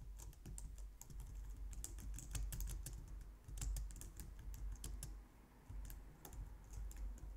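Long nails and fingertips type steadily on the keys of a compact, low-profile white plastic computer keyboard. The result is a rapid stream of bright, crisp clicks and taps over a constant low hum, with brief lulls between bursts.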